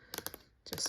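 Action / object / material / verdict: tap / metal award plaque / metal / none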